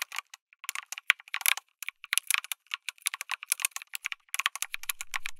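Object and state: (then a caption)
Mechanical keyboard with plastic keycaps. Fingertips type continuously on a backlit mechanical keyboard with plastic keycaps, an FR4 plate and tactile switches. Bursts of short, bright clicky keystrokes come in quick irregular runs with brief pauses and almost no low end.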